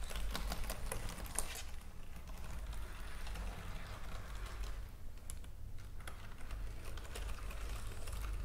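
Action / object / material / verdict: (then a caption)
tap / plastic computer keyboard / plastic / none. Long nails and fingertips tap and type on the keys of a white plastic computer keyboard lying on a table. Quiet, rapid clicking taps run throughout over a steady low rumble.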